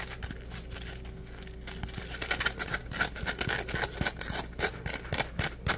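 A dry, porous, palm-sized yellow smiley-face Scrub Daddy polymer foam sponge is rubbed and squeezed with fingertips. After a quiet, soft start over a faint low hum, it grows into quick, irregular bursts of dry scratchy, crinkly rubbing with a bright squeaky edge that grow louder toward the end.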